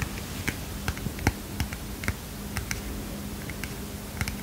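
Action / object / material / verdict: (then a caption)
tap / small paper notepad / paper / none. Long fingernails tap about twelve times on the front of a small heart-shaped, kitten-print paper mini notepad. Each tap is a short, dry, clicky sound that dies away almost instantly, spaced irregularly over a steady low hum.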